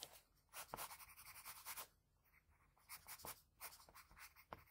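A graphite pencil rubs and shades the lips of a drawing on a flat sheet of white drawing paper, using both the tip and the side of the lead. Quiet, bright, scratchy strokes come in bursts with brief pauses, punctuated by a few sharper ticks.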